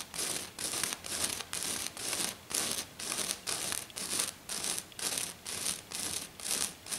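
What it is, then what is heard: Glitter sheet being scratched. Fingernails of one hand scratch a flat silver glitter sheet lying on a table, moving across its surface. The result is a steady, fast series of bright, hissy, crinkly scratching bursts, about two per second, each separated by a short pause.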